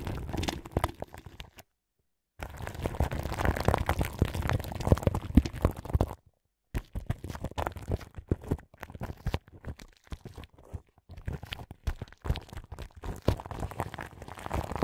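Long pink nails scratch and brush the crinkly clear plastic film wrapped around the grille of a large microphone. The result is a close, dense crackle and crinkle that is heavy in the low end, with two brief silent gaps. After the second gap it becomes choppier, with sharper bursts of scratching.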